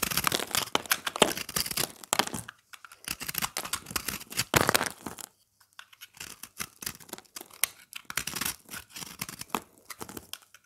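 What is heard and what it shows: A knife blade carves and scrapes a solid round chunk of dry, pressed, multicolored recycled soap held in the hand, shaving off crunchy crumbs. Dense bursts of dry, bright crunching and scratching come in quick strokes, with a short silent pause just past the midpoint before the scraping resumes more softly.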